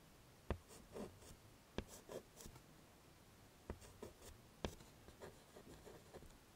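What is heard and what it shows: Fingers holding white chalk draw small dots and a smiley face on the dark surface of a small, flat, wooden-framed chalkboard. Sharp, dry taps are heard, each followed by short, soft chalk-writing scratches with a bright grainy edge, all at a quiet level.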